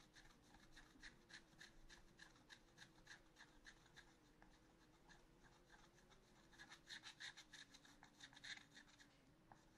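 A wooden stylus scratches fine lines into the black coating of a scratch art paper sheet in a spiral notebook. It makes a quick, uneven series of short, dry, bright scratching strokes, getting louder near the end, over a faint steady low hum.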